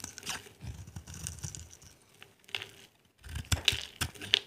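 A small metal blade scrapes and carves flakes off a solid, dry, palm-sized orange soap bar with an embossed logo, held in a hand with red nails. Bright, crisp scraping and crackly flaking come in uneven bursts, with a brief near-silent pause midway before sharper scrapes resume.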